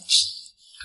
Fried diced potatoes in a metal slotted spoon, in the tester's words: Take it in a slotted spoon and shake it like this The sound is very crisp